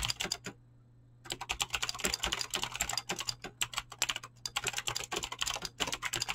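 Fingertips with short painted nails type fast on a full-size mechanical keyboard with Razer green clicky switches and pink-blue PBT plastic keycaps resting on a desk. Bright, crisp clicks come in rapid bursts, with a short pause near the start before the steady typing resumes.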